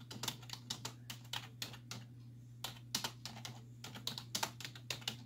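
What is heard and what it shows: Long nails and fingertips press the hollow keys of a black plastic computer keyboard resting on a wooden desk, typing in quick bursts of rapid taps. Each tap is a short, bright, clicky plastic tick with almost no ring, set over a steady low hum, with brief pauses between runs of typing.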